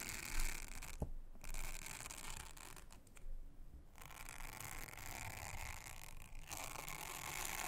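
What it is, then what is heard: Silicone honeycomb trivet brushed. A soft toothbrush is brushed over a thin, solid, round blue silicone honeycomb trivet mat, producing a steady, bright, bristly scratching hiss over a low rumble. The brushing pauses briefly twice, leaving only quieter low noise, before the scratchy strokes resume and continue to the end.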